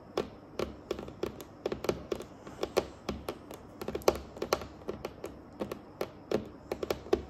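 Long acrylic nails on both hands tap across a large, solid, dark, glossy varnished wooden tabletop. About 32 short, crisp clicks fall in an uneven, typing-like rhythm, each with a light mid-toned knock and a bright tick that dies away almost at once, over a quiet background.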